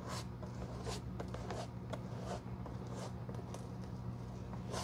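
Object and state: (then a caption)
Leather shoe sole being brushed. A bristle glue brush is rubbed across a black, worn leather shoe sole studded with small metal nails, held in the hand. Soft, bright, scratchy swishes come in repeated strokes over a steady low hum.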